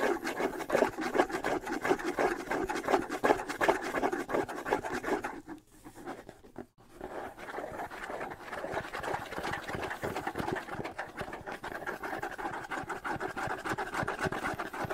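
Fingernails scratch the skin head and decorated wooden shell of a small hollow bongo held in one hand, giving a dense, fast, uneven rasping centered in the mid range. The scratching thins to a near-silent pause about a third of the way in, then resumes at a slightly softer, steadier level.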